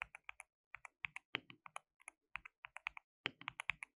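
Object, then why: Plastic mechanical keyboard. Both hands type continuously with their fingertips on a compact, hollow, white-cased mechanical keyboard with white and pink plastic keycaps and an RGB backlight. About 25 sharp, bright, clacky keystrokes come in quick bursts separated by brief pauses. Each stroke dies away almost instantly and has very little low end.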